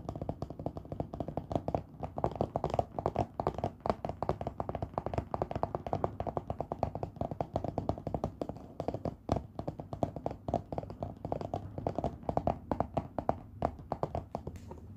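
Fingertips and nails tap rapidly on the printed lid of a long, hollow cardboard Harry Potter wand box lying on a teal cloth. The dense, steady stream of dry, short taps has a hollow midrange tone with almost no ring and no bright high end.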